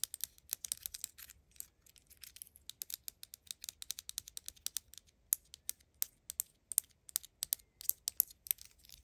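Long acrylic nails rapidly tap and scratch a small, hollow pink plastic cylindrical bottle from a Mini Brands toy set, held in the hand. Dense bursts of crisp, bright clicks and light scratching run throughout, with the later taps spaced more evenly apart. Each tap is short and dry, with almost no low end.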